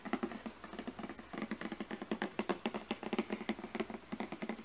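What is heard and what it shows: Long fingernails tap and scratch the top of a glossy printed cardboard product box resting on a carpet. About thirty quick, dry, hollow taps sound in an uneven patter, with a soft papery scratch between them. Each tap is quiet and dies almost at once, with little deep bass.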